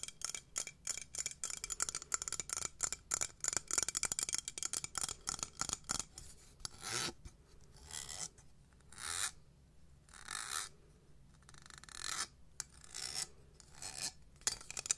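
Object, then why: Small metal cup. A small, hollow, empty cup with a textured gold metallic surface is held in the hands and tapped and scratched with long nails on the outside and rim. Rapid, bright, high-pitched clicking taps come first, then give way to longer raspy scratching strokes with short pauses between them.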